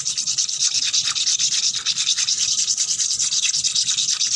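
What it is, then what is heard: Wet concrete floor. Nails and fingertips scratch fast and hard across a wet, solid, painted concrete floor covered in bubbles. The result is a continuous bright, hissing rasp made of quick, uneven rhythmic strokes at about three per second, with almost no low end.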